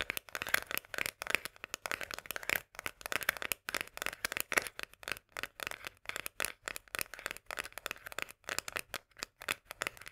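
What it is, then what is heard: Metal can of sweet corn. Long nails tap quickly on the label and rim of a small, full, sealed metal food can of Bonduelle sweet corn. The result is a rapid, continuous run of crisp, bright clicks and light scratchy taps centered around 2 kHz, with almost no low end and no ring after each tap.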